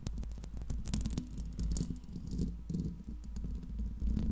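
Long pink nails scratch and tap the metal mesh grille of a Blue Yeti microphone, with the hands lifting between bursts. Close, muffled low rumbling scratches are dotted with sharp bright ticks, coming in uneven bursts with brief dips in between.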